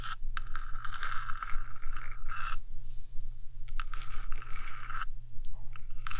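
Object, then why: Metal microphone housing. Long dark nails scratch the top of the hollow, painted metal body of a 3Dio binaural microphone, first with one hand and then with both. Bright, raspy scraping bursts start and stop in quick strokes, with brief pauses between them. A steady low hum runs underneath throughout.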